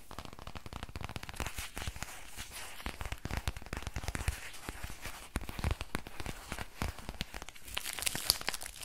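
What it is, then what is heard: Crinkly plastic pouch. A small, thin, flexible silver-grey plastic book or pouch is held in both hands while fingernails scratch and squeeze it. The result is a dense, fast stream of crinkly, crackling plastic sounds with sharp, bright snaps over a low rustle.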